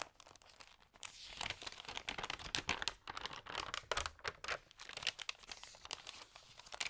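Fingertips rub and turn the pages of a thin, damp paper magazine up close, crinkling the paper. Dense, bright crackles and rustles come in quick irregular bursts with short swells, each crackle dying away almost at once, with very little low end.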